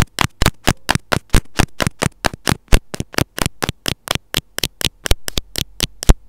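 The tip of a pair of metal scissors scratches and taps on the small, hollow, white plastic housing of an earphone inline mic. About 29 sharp, dry scrapes and clicks follow in a quick, uneven rhythm, each a bright broadband burst that dies away almost instantly with a heavy low-end thump.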